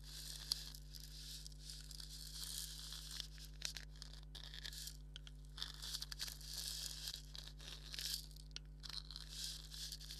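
Thumbnail and fingernails scratch the hollow head of a black dotted leather maraca. The result is a steady, bright, dry scratching and rasping with brief sharp flicks over a constant low hum.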